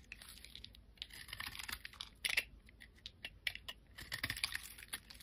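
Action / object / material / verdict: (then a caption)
scrape / glycerin soap bar scraped with a metal blade / glycerin soap / none. A metal blade scrapes along the face of a solid, rectangular, translucent amber glycerin soap bar held in the hand. The sound is a quiet run of quick, crisp, bright scraping clicks with brief bursts that die away almost instantly.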